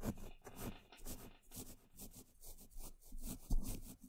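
A small paintbrush brushes and scratches across a hollow woven metal mesh microphone grille, working over its top, side and front. About eight soft, rustling strokes swell and fade, each a dull, bass-heavy scrape with a faint bright bristle hiss.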